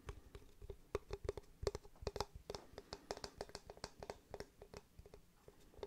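Fingertips and nails tap and scratch the face of a solid, light-coloured rectangular block of wood or fibreboard held in one hand. About two dozen quick, dry taps in an uneven rhythm, each with a faint hollow tone near 400 Hz and a bright click, dying away almost instantly over a soft scratching texture.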